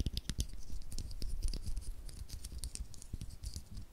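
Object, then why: 9-volt battery with metal casing. A small, solid 9-volt battery with a copper and black metal-wrapped casing is held in the fingers just above a stereo microphone while fingertips and short nails rub, scratch and tap its sides and terminals. Quick, dry scratching and light tapping come through, with a low, thumpy close-mic body under bright scratchy ticks. Each sound is short and dies away almost at once.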